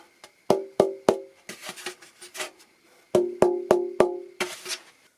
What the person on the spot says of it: very much depends on where you hold it.